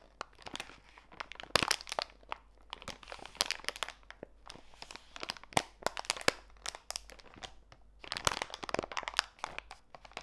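A small clear plastic bag full of walnut pieces rests on a foam mat and is pressed and crinkled by fingertips with long nails. Dense, bright crinkling and crunching fill the clip, with many sharp crackles and brief clicks that die away instantly, and louder bursts of squeezing come and go.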